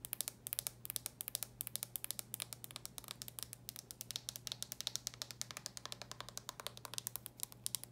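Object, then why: Plastic handheld game console. Long nails tap quickly on the lid and edge of a red plastic handheld game console held close up. A rapid, uneven run of dozens of sharp, bright clicks sounds with almost no ring, over a faint steady low hum.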